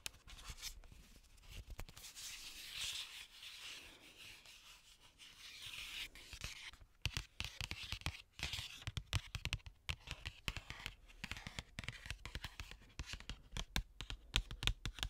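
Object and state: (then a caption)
Cardboard box scratched and tapped. Long nails scratch and tap the surface of a flat printed cardboard Glamlite x Scooby Doo palette box held close to the mic. For the first six seconds there is soft, continuous scratching with a bright, airy hiss. After that come quick, dry taps with very short ring, mixed with light scratches until the end.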